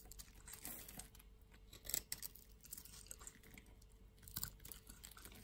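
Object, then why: Bar of soap. A solid brown soap bar held in one palm is scraped and shaved with a yellow-handled utility knife blade, and soap crumbs fall off. The sound is a quiet, bright, continuous crackly scraping made of many small dry scratches. It swells into louder shaving bursts around the two-second mark and again near four and a half seconds.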